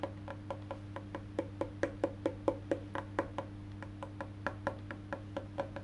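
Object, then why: Wooden electric bass guitar body and maple neck. Fingertips tap the black-painted solid wood back of a face-down electric bass guitar, then move to its maple neck. Twenty-six short, dull, woody knocks come at an uneven pace, each with a hollow midrange tone that dies away almost instantly. A steady low hum runs underneath throughout.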